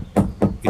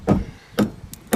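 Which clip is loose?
The first.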